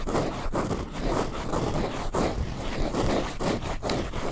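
A hand-sized yellow foam sponge is held in both hands, squeezed and scratched with the fingertips close to a microphone. The result is a continuous soft, muffled scratching and rustling, mostly low and midrange, that swells and dips in repeated strokes with brief pauses between them.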